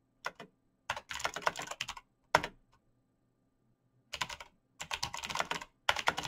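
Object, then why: Mechanical computer keyboard with plastic keycaps. Fingertips of both hands type fast on a black mechanical computer keyboard with plastic keycaps and clicky switches. Quick bursts of sharp, bright clicks are separated by short pauses, and each keystroke ends almost instantly. A faint low hum sits underneath.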